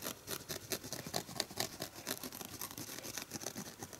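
Fingernails scratch across the abrasive fibers of the green scouring-pad side of a red foam kitchen sponge held in one hand. The result is a quiet, dense, bright scratching made of rapid, irregular strokes with no ringing after each one.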